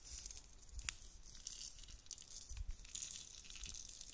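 A clear, hollow plastic dome lid filled with loose pastel beads is held in both hands and shaken and tapped with long nails. The beads rattle and crinkle in a quiet, bright hiss with sharp little ticks, over soft low thumps from the handling.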